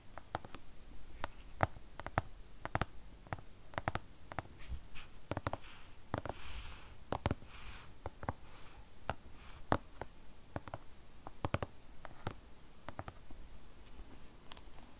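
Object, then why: Tablet with glass screen and aluminium body. An iPad tablet with a glass screen, white bezel and aluminum body, switched off and held upright, is tapped with fingernails on its glass screen. Many quick, dry clicks with almost no ring come in irregular bursts, sounding faint and mostly low. A few taps carry a brighter tick.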